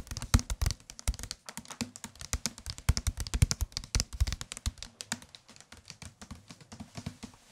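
A medium-thickness paperback book with a white and dark-gray card cover and a solid paper block is held in both hands and tapped with the fingertips on the cover and spine. A fast, uneven run of short, dull taps sounds with a low thump and a light papery click on top, each dying away at once. The tapping gradually grows softer toward the end.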